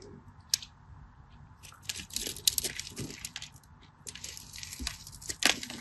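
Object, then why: Bar of soap. A craft knife scores and cuts a solid beige cream bar soap into cubes, making bright, dry scratching and crunching sounds. Bursts of gritty scraping swell and fade across the clip, with sharp snapping clicks near the start and again near the end.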